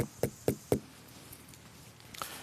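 A watermelon is knocked to test its ripeness, giving three clear, dull, hollow-sounding knocks followed by a few fainter taps. The hollow sound shows the melon is ripe, because ripe flesh contracts and becomes spongy inside, and cutting it open confirms this.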